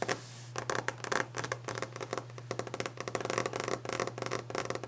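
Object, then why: Varnished wooden desk top. Long orange-painted fingernails tap and scratch fast across a large, solid, varnished wooden desk top. A rapid, uneven flurry of short, bright clicks and scrapes runs over a steady low hum, with each tap dying away almost at once.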